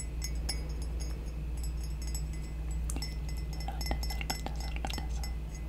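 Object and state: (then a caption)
Glazed ceramic mug. A hollow grey ceramic mug with a metallic glaze and a handle is held close and tapped with long nails. It gives light, bright clinks and short glassy pings scattered irregularly over a steady low hum.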